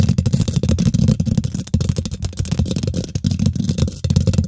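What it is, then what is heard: Metal mesh microphone grille. Long nails and fingertips on both hands quickly scratch and tap the domed, hollow woven metal mesh grille of a large silver condenser microphone. The result is a dense, boomy stream of low thuds and rumbling scrapes with only a faint bright edge. It barely pauses, with brief dips near 1.7 and 4.1 seconds.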